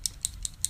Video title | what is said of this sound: Full Face Makeup | you want to shake it because it has a ball in there